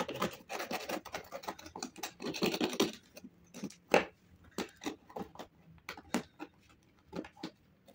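A metal knife blade scrapes a thick crust of dried grey mud or clay off the upper of a shoe held on a wooden-look table, and flakes fall onto the table. For about three seconds there is dense, gritty scraping, then sharper separate scratches and crackles with short pauses between them.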